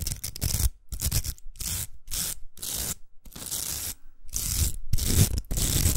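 Long acrylic nails scratch along the velcro surface of a large, hollow pink plastic hair roller. Rough, bright rasping bursts are separated by short silences, with a low rumbling body under each stroke. The strokes repeat at an uneven pace for the whole clip.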